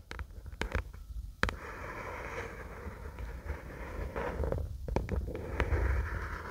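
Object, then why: Paperback book with card cover. Long acrylic nails tap and scratch the white paper/card cover of a paperback book held in both hands. Sharp, dry taps cut through a steady rustling scratch that carries a low rumble underneath, with brighter scratching bands in the middle range.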